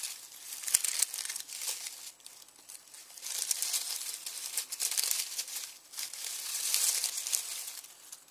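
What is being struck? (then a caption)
Dry onion skins in a plastic mesh bag. Fingertips crumple and pinch dry onion skins through a red plastic mesh bag. The crinkling comes in dry, crackly bursts that swell and fade unevenly, almost entirely bright and high with no low end.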